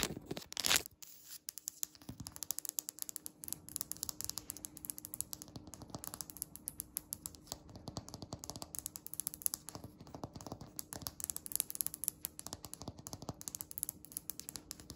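Long red nail tips tap quickly on a flat, solid, speckled grey polished stone countertop. The taps make rapid, dry, bright clicks with almost no ring, over a faint steady low hum. A louder burst of sound comes at the start.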